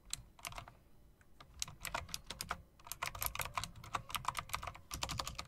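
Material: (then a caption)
Plastic. Both hands type with fingertips and long nails on a typewriter-style mechanical keyboard with round plastic keycaps and metal rims. The result is a rapid stream of sharp, bright clicks that stop almost instantly, with a clicky tone around 1 kHz. The typing eases briefly near the first second, then picks up into a denser, louder run.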